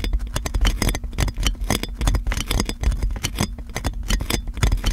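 Fingertips and long nails scratch and crinkle clear plastic cling film wrapped around a metal microphone. A dense, continuous run of crackling and scratchy ticks lasts the whole clip, with bright crisp edges over a heavy, boomy low thump from the handled microphone.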